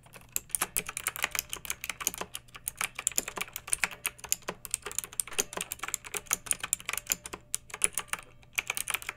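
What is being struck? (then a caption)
Plastic mechanical keyboard. A pink backlit plastic mechanical keyboard with round typewriter-style plastic keycaps rests on a fluffy rug and is typed on with long nails and fingertips of both hands. Rapid, crisp clicky keystrokes with bright, high-pitched clacks come in uneven bursts with very short decay. A faint low hum sits underneath.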